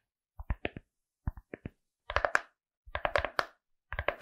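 Long acrylic nails tap and scratch a small, hollow, rigid glasses case covered in pink fuzzy felt and decorated with cartoon eyes, held close to the microphone. Short, dry clicks come in small groups, then give way to denser clusters of tapping with a brighter, hollow scratchy texture.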